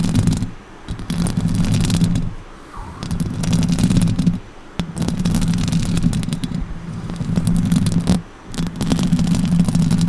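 Long orange nails scratch across the top of a silver Blue Yeti microphone's hollow metal mesh grille and tap on it. The sound is a dense, low, rumbling scrape, with faint bright crackles on top. It comes in sustained bursts separated by short quiet pauses.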